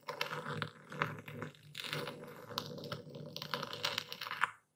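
A dark stone pestle is pushed down into a wooden bowl full of coarse white Epsom salt, crushing the crystals while a hand steadies the bowl rim. Dense bursts of dry, gritty crunching and sharp clicking crackles come in waves, bright and close, before stopping abruptly just before the end.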